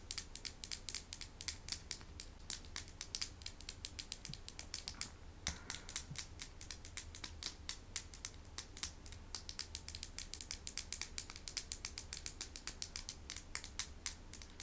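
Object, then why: Small painted stones. Small hand-painted medicine stones are tapped in quick succession, giving a steady stream of short, dry, bright clicks that die away almost instantly. A faint low hum sits underneath throughout.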